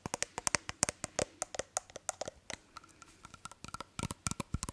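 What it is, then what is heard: Small glass perfume bottle. A small hollow glass perfume bottle with a cap is held in hands near the microphone while fingertips and nails tap and handle it. About two dozen quick, separate taps sound as bright, glassy clicks with short high ringing tones that die away almost at once. Soft handling noise fills the gaps between them.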